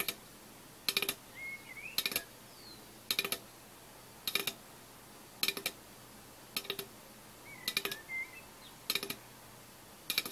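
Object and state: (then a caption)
Aluminium soda can. An unopened, full-looking 330 ml orange Fanta aluminium can is held in one hand and tapped on its side with the fingertips and nails of the other hand. Nine short bursts of quick, bright, clicky taps sound at roughly one-second intervals, each dying away almost instantly. Faint high chirps are heard between the bursts.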